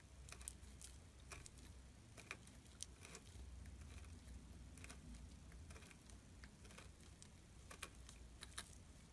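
A metal tool carves curled shavings from the edge of a solid gray glittery soap bar held flat under the fingers. Quiet, short, bright crackling scrapes and ticks come in irregular bursts over a steady low rumble.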